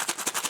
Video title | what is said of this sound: All The Way From Japan 3- My House | as I shake it you can hear the change jingling